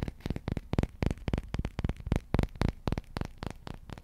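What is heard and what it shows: Fingertips and nails tap and scratch a long, dark, solid wooden slotted spatula held over a microphone. About 19 quick, dry, low thuds come in an uneven rhythm, each dying away almost instantly, with faint scratchy texture between them.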